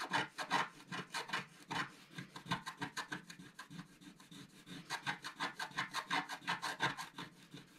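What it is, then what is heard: Scratch-art card being scraped. A wooden stylus scrapes quick vertical strokes across a flat black-coated scratch-art paper sheet, removing the coating. About thirty short, dry rasping strokes come in a steady back-and-forth rhythm, each with a bright, scratchy edge and almost no low end.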